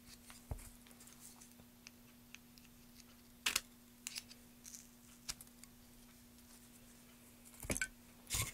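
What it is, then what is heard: Pine wood block being rubbed. A gloved hand rubs and brushes over the carved top surface of a solid pine wood block, making soft, dry, bright scratching and swishing sounds. Quiet stretches of faint rubbing are broken by short, louder brushing bursts, over a steady low hum.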